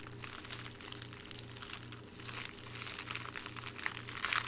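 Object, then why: Thin clear plastic bag. Fingertips crumple and crinkle a thin clear plastic bag with a small jewelry item inside, held up in both hands. Bright, dense crackling rustles continue throughout over a faint, steady, pulsing low hum, growing louder and sharper toward the end.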